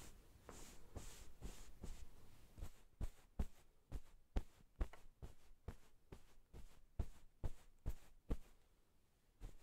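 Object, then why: Pillow in a cotton pillowcase. White satin-gloved hands smooth a soft pillow in a light floral cotton pillowcase resting on a wooden table, making a soft fabric rustle, then pat it. The patting gives about fifteen dull, low, muffled thumps at an uneven, quick pace, each dying away almost instantly.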